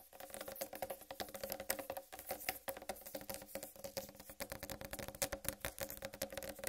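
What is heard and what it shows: Long red nails tap rapidly and continuously on a large, whole, uncut watermelon with a solid green striped rind. The result is a quiet, dense patter of short, dry clicks with a hollow tone around 550 Hz, each dying away almost instantly, with some bright, crisp edges.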